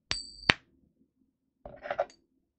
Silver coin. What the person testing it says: That's your silver ping test. They're different kinds of silver.